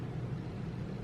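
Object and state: Nothing is struck.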